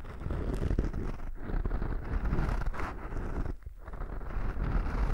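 Fingertips and short nails of a right hand scratch the surface of a small black foam windscreen over a microphone. This produces a dense, continuous rustling scrape heavy in low rumble, with brief dips in the scratching around 1.3 and 3.6 seconds.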